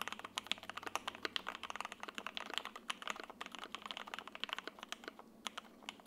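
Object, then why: Mechanical keyboard with plastic ABS keycaps. An F1-8X 80% mechanical keyboard, with a grey solid case, foam inside, a sandwich PC plate and white, grey and green double-shot ABS keycaps, sits on a desk mat and is typed on continuously with the fingertips of both hands. A rapid, steady stream of short, crisp, bright clacks with no ring follows, with no low rumble beneath.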